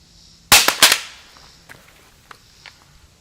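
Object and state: Loaded steel rifle magazine dropped on concrete.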